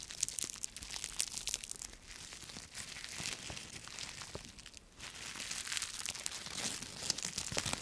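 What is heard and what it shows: A bunch of thin, brittle, dry yellow-green autumn leaves on a twig is torn apart with the fingertips, then squeezed in one fist. Dense, bright, dry crackling and tearing fills the first half, dips briefly near the five-second mark, then returns as louder crunching as the leaves are crushed.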